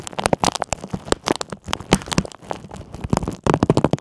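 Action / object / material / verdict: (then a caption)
tap / clear plastic tumbler filled with water beads / plastic / none. Long manicured nails scratch and tap the sides of a medium clear plastic tumbler with a green lid, held in both hands, filled with blue and green water beads and silver tinsel and wrapped with silver tape around the base. A rapid, irregular series of short, dry plastic clicks and crackly scratches with a hollow low-mid body. Each tap cuts off almost instantly, and a denser burst of taps comes at the end.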